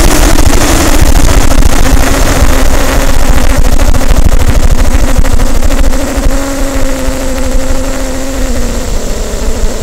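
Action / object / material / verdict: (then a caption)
tap / inflated latex balloon / latex / none. Long nails tap and rub the surface of a large, hollow, inflated green latex balloon resting on a table by the microphone. The result is dense, rapid, boomy low thumps with a squeaky, humming rubbing tone running underneath. The sound grows quieter after about six seconds.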